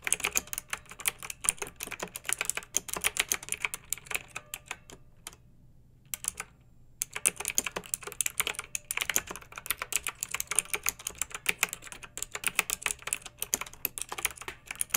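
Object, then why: Plastic mechanical keyboard. Both hands with long nails type with their fingertips on a pink backlit plastic mechanical keyboard with round keycaps resting on a fluffy rug. Steady streams of quick, bright, crisp key clicks are heard, pausing briefly about a third of the way through before resuming.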